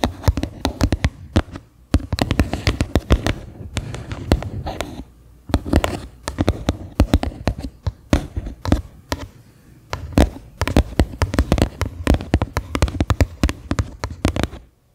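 Long nails tap and scratch the base of a medium white faceted bowl, likely plastic, resting upside down and hollow. Rapid bursts of dull, hollow taps with a low, thumping body and very short ring alternate with softer scratching, broken by a few brief pauses.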